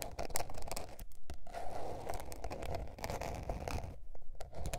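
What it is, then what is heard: Spiral notebook with paper cover. Long painted nails scratch across a small blue patterned spiral-bound paper notebook with a paper cover, lying flat. A steady run of quick, dry rasping strokes with a papery crinkle, centered on a midrange band around 700 Hz over a low rumble, with brief quiet gaps between bursts.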